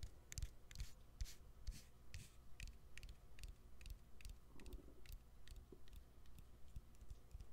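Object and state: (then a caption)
Opened smartphone, battery and frame tapped. Fingernails tap on the exposed battery and plastic frame of a smartphone with its back cover removed. A quick, uneven series of short, dry clicks sounds at roughly two per second, each a bright, high tick over a soft low thump. The taps stop instantly with no ring, and the overall level is quiet.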